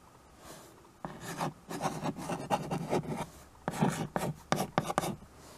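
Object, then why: Chalk on a small wood-framed chalkboard. White chalk held in the fingers writes on a small handheld chalkboard with a wooden frame. After a second of near silence, a series of dry, raspy scratching strokes follows, some longer and some quick and sharp, with short pauses between them.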